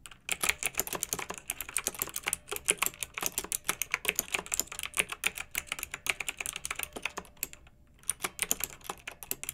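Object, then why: Plastic mechanical keyboard with round keycaps. Both hands with long nails type rapidly on a pink plastic retro mechanical keyboard with round, backlit keycaps. A dense, steady stream of sharp, bright clicks with very short decay fills the clip, broken by a brief pause near the eight-second mark before the typing resumes.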